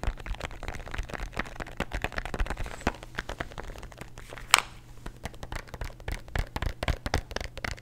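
A plastic antacid bottle containing tablets is tapped rapidly and aggressively with fingernails, and possibly shaken, producing a dense run of short, dry clicks and rattles. A steady low hum sits underneath, and one sharper, brighter crack stands out midway through.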